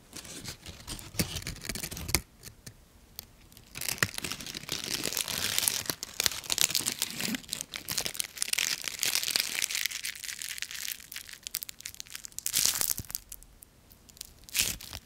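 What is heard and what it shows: A single large, thin and papery dry yellow maple leaf is crumpled in the hands, then crushed in one fist while its stem is pulled. Dense, bright crackling and crinkling sounds come in bursts separated by brief quieter pauses. The dry leaf crunches and breaks apart with sharp, snappy tearing sounds.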